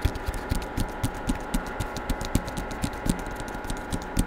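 Fingertips tap on the front cover of a solid Star Wars hardcover book with a paper dust jacket, held in one hand close to the microphone. About fourteen short, dull, low thuds land at an uneven pace of roughly four per second, each dying away almost at once. A faint steady hum runs underneath.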